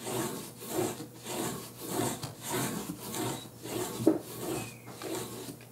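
A short flat bristle brush is stroked and rubbed by hand across the grain of a large, flat wooden painting panel, painted pink with red drips and a yellow tape line, lying on a table. It gives a steady run of dry, raspy, scratchy strokes that swell and fade in a loose rhythm, with bright hiss on top of each pass.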